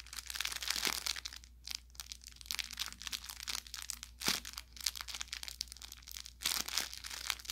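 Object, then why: Plush fabric carrot toy with crinkle filling. Hands squeeze and press the body of a soft-stuffed orange velour fabric carrot toy with crinkle filling. The result is a continuous run of bright, dry crinkling and crackling with short sharper pops that die away almost instantly.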